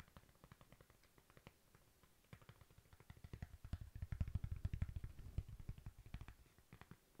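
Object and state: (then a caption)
Cork coaster. Long nails tap and scratch a thin, flat, solid cork coaster up close, making soft, dry, dull thuds. The irregular, quick taps die away almost instantly, grow denser and louder in the middle, then thin out again toward the end.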